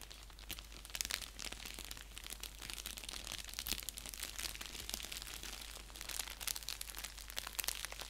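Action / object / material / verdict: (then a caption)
scrape / padded bubble mailer envelope / paper and plastic / none. An orange padded bubble mailer envelope, flat and hollow and lying on a blanket, is scratched and pressed with fingertips and nails. Dense, bright crinkling and crackling runs throughout, with quick sharp clicks and little ring over a faint low hum.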